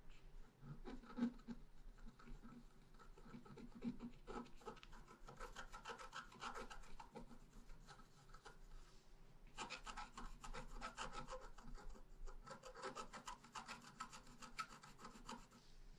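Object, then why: Coated scratch art paper sheet scratched with a wooden stylus. A pointed wooden stylus scratches a thin sheet of black-coated rainbow scratch paper lying flat on a table, working near the bottom edge. Quiet, raspy rubbing strokes come in quick runs, with a brief lull about halfway before the scratching picks up again.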